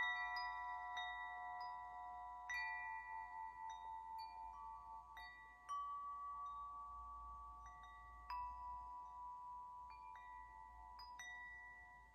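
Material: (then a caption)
Metal. A hollow metal tube wind chime is held by its string and gently shaken so its central striker rings the tubes. Clear, bell-like metallic tones around 2 kHz chime at irregular intervals, each ringing and overlapping into a long, shimmering sustain with bright overtones.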